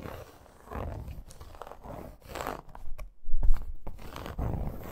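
Long acrylic nails scratch a flat dark-red faux leather wrist guard with embossed crocodile texture and metal studs and eyelets. The result is a series of low, rough, rasping scratch strokes in uneven bursts, the loudest landing near the middle of the clip.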